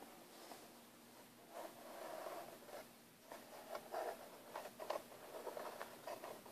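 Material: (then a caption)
Plastic. Fingertips and nails scratch and tap across the lid of a closed, hollow, black textured hard plastic airbrush case. Quiet, dry scratching swells and fades, followed by a series of soft, short taps and scrapes with a hollow tone around 600 Hz and little low end.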